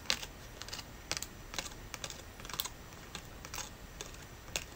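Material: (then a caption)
Leaf. A large, thin, brittle brown dried leaf is held in both hands and tapped and crinkled with fingertips and long natural nails. About fourteen quiet, sharp, dry clicks and crackles come at an uneven pace, bright and high-pitched, each dying away almost instantly.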